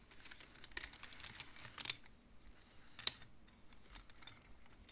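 Fingertips slide the colored wooden beads along the metal rods of a large wooden-framed abacus so they click together. The result is a quiet, irregular patter of short, bright clicks that die away almost instantly, with one sharper knock near the three-second mark.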